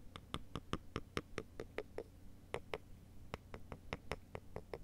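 Two thin, solid wooden sticks held in the hands are tapped and clicked against each other in a cross, making 20 sharp, dry clicks with a brief pause midway. Each click has a hollow tone around 400 Hz with bright upper overtones and dies away almost instantly over a steady low hum.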